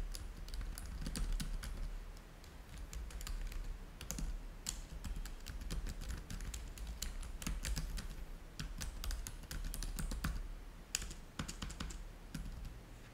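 Fingertips type on the keys of a black plastic laptop keyboard. A steady, quick run of short, dry, bright key clicks continues over a constant low rumble for the whole clip.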